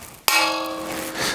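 A hollow metal model of a globe, with a hole cut out at the bottom so it works as a gong, is struck once. It gives a sharp clang that settles into a sustained, bright metallic ring with clear steady tones. The ring fades slowly over the following second.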